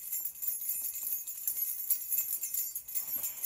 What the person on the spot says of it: that sounded really tingly and high and a happy sound like bells